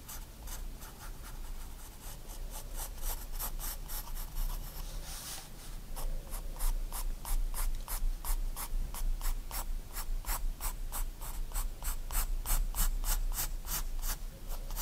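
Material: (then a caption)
Paper. A 4B pencil draws light line strokes across a white paper sketchbook page lying flat, scratching the paper. Quick, bright scratches repeat in a steady, fairly loose rhythm over a constant low hum, with a brief smoother rub near the middle. After that the strokes grow louder and more even.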